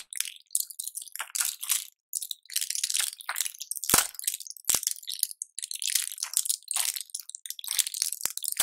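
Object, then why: Plastic and foil blister pack. Latex-gloved fingertips press and crush the clear plastic bubbles of a small blister pack of colorful pills on a foil backing. Dense bursts of bright, crinkly crackling come and go, with a few sharp snapping clicks along the way.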